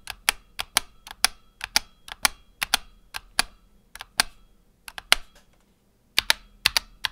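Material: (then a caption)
Plastic. A single fingertip taps individual keys on a black tenkeyless Razer Huntsman Tournament Edition mechanical keyboard with PBT plastic keycaps and optical switches. About two dozen sharp, bright clicks fall in an uneven rhythm, each dying away almost at once. There is a brief silent pause before a final cluster of taps.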